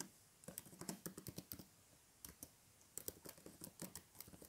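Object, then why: Plastic tablet keyboard. Fingertips type and tap on the plastic keys of a flat tablet keyboard in a blue case resting on a table, and a hand rests on its edge at the end. Short, dry clicks come in two bursts separated by a pause of about a second.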